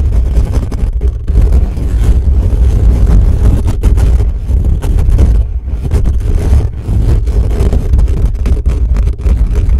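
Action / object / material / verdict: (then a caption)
scrape / metal mesh microphone grille / metal mesh / none. Fingertips and nails of both hands scratch fast and hard across the bare metal mesh grille of a black condenser microphone with a hollow head. The result is a loud, continuous, booming rumble of scraping, almost entirely deep and low, with brief dips in the friction along the way.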